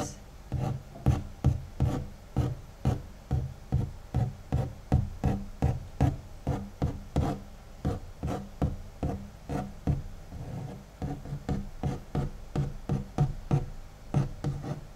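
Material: Cardboard.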